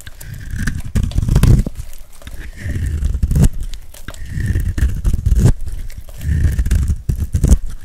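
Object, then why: Bar of soap shaved with a metal blade. A metal carving blade scrapes across the face of a hand-held dry pink soap bar with a gold glitter coating, shaving off curls. About four drawn-out, dry, crackly rasping strokes are heard, each one a dense, low, crunchy scrape with sharp little snaps.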